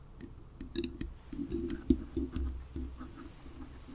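Long nails scratch and tap the lower foam sides of a black foam windscreen on a microphone. The result is a quiet, irregular run of muffled, low, rustling scrapes dotted with brief, bright clicks that die away almost instantly.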